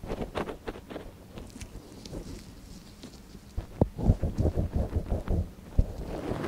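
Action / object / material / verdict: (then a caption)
scrape / silicone dummy ear scratched with a wooden ear pick / silicone / none. A gloved hand scratches the canal of a small, hollow white silicone dummy ear on a binaural microphone with a long, thin wooden ear pick. Soft, low, muffled rustling and scraping fill the first half. A quick, irregular series of louder, close-up thumping scratches follows.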